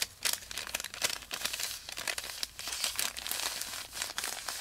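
A long, thin, flat strip of white parchment paper lying on carpet is pressed, smoothed and rubbed with the fingertips of both hands. It makes a continuous, bright, dry crinkling full of quick crackles, with almost no low end.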